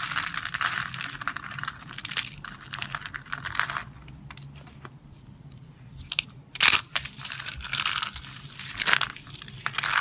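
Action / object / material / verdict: scrape / soap flakes / soap / none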